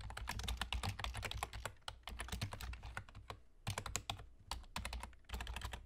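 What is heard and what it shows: A full-size black plastic computer keyboard with German key labels and hollow keys is typed on rapidly with the fingertips of both hands, short nails tapping the keys. Bursts of quick, crisp clicks with bright edges come in runs separated by brief pauses, over a steady low hum.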